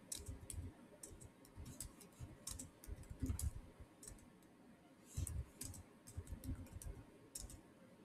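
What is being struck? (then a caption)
Plastic laptop keyboard keys. Fingertips type and click on the solid keys of a black plastic chiclet keyboard on a silver Samsung laptop. A steady run of quiet, short clicks, each with a low thump and a bright tick, ends quickly with no ringing.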